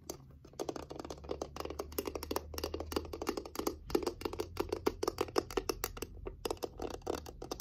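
Long fingernails tap and scratch on a small reddish wooden box with a heart-shaped glass window and a painted rose, moving over its wooden sides and glass lid. The result is a quick, dense run of short, dry clicks with a faint scratchy texture, over a low, steady hum.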